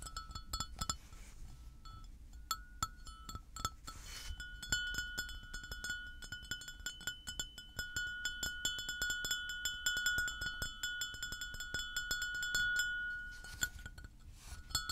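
A hollow, apparently empty white floral porcelain mug held on a table is tapped with fingertips and nails. The result is a long run of quick, irregular clinks with a short glassy ring around 1.5 kHz and bright overtones, plus softer dull taps in between.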